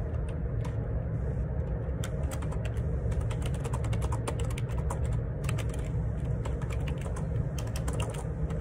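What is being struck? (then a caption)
Plastic computer keyboard. Fingertips type on the plastic keycaps of a black Perixx Periboard 612 wireless Bluetooth dual ergonomic split keyboard with a hollow housing, lying on a grey laminate desk. A steady run of short, bright key clicks sits over a constant low rumble.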